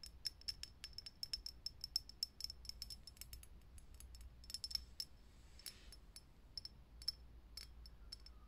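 A fingernail taps rapidly on a lit, hollow, clear glass vintage filament light bulb, each tap giving a short, bright, high glassy click that dies away almost instantly. Midway the hand cups the glass with a soft brushing rustle before the quick tapping resumes, all over a faint low hum.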